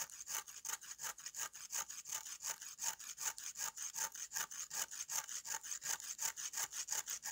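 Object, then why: Dried red clay slab. A green-handled knife scrapes repeatedly across the gritty face of a solid, flat slab of dried red clay held in the hand. It makes a dry, bright rasping scratch with no low end, in quick, fairly steady strokes of about three per second. Each stroke ends abruptly with almost no ring.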